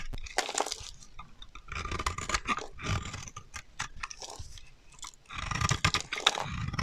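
A solid dry green soap bar held in the hand is shaved and scraped with a metal utility knife blade, sending curls falling off. Dense, crunchy scraping strokes come in bursts, crackling bright over a soft low rustle, with short pauses between passes.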